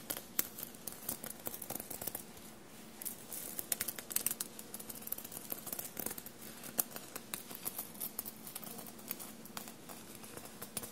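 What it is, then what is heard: Sequined fabric shirt. Short blue-painted nails scratch and tap a dark blue soft shirt bunched on a table and covered in small silver paillette studs. The result is a quiet, steady stream of crisp, bright clicks and scratchy ticks, with short sharp accents that die away almost instantly.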